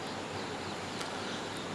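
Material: Nothing is struck.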